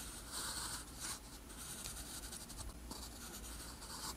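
A metal pen nib scratches across a flat, thin sheet of lined white paper while writing Korean characters. The result is a continuous, quiet, bright scratching with short strokes and slight rises in level.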